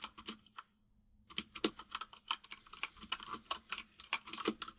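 Fingertips of both hands type on a full-size mechanical keyboard with white and grey plastic keycaps and a hollow case. A few quick, bright clacks are followed by a short pause, then a steady run of sharp, hollow key taps with very little low end and almost no ring.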